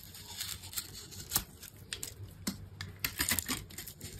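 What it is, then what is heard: Dry bar soap being cut. A metal utility knife blade scores a hand-held solid green bar of dry soap with a red coating in a grid and scrapes it into small cubes. The result is a quiet run of dry, crisp scraping and crumbly cutting sounds, mostly bright, with short, sharp clicks that die away almost at once.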